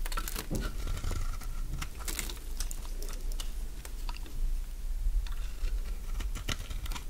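A metal blade shaves curled strips from the face of a solid oval mint-green Fa soap bar held in the palm. The result is a steady run of short, dry, crunchy scrapes and clicks with bright crisp edges over a low, constant rumble.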